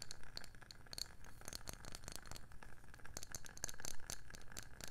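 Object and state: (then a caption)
Wooden candle lid. Long painted nails tap and scratch across a round wooden candle lid with a printed label. Quick, dry taps with very little ring come in dense runs, mixed with a soft, continuous scratching. A low, dull body sits under short, bright clicking edges.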